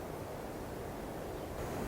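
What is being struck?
Nothing is struck.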